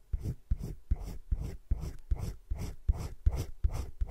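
A hand shades around a drawn droplet with a teal colored pencil on thick cream drawing paper in a spiral-bound drawing book lying flat. Roughly a dozen short, evenly paced strokes each make a soft, low, dull scratch, separated by brief pauses.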